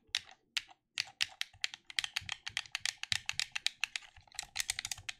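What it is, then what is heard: Plastic game controller buttons clicked. Thumbs click the buttons of a black plastic gamepad held in both hands, giving 29 quick, dry clicks in an irregular rhythm with a few short pauses. Each click is bright and sharp, with almost no low end, and dies away almost at once.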